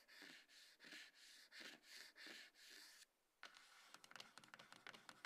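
Long nails scratch across a small, hollow, closed dark grey cardboard iPhone box resting on a table, making eight soft, bright, rhythmic scraping strokes. After a brief pause, the nails switch to quick, irregular tapping, giving a patter of light, dry clicks on the box.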